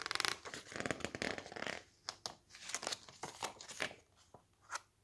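Fingertips grip and flip the thick coated pages of a glossy-paper cookbook lying open on a stack. A dense flurry of bright rustling and flapping comes first, followed by sparser crisp page snaps and soft slides with short quiet gaps between them.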